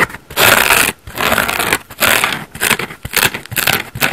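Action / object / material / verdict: scrape / foam bath sponge / foam / none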